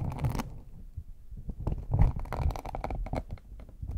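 Fingertips and nails tap and scratch the top of a small, hollow, brown faux leather hard shell case with a chocolate-bar embossed lid. The result is a run of soft, hollow, low thumps mixed with brief scratchy rasps, mostly muffled, with little ring after each touch.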